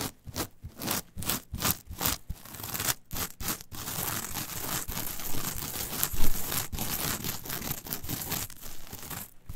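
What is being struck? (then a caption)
Coir fiber mat. Long nails and fingertips quickly rub and scratch the coarse fibers of a flat brown coir fiber mat. Short, separate raspy strokes come first, then merge into dense, continuous crunchy scratching with a rough, crinkly texture and heavy low rumble.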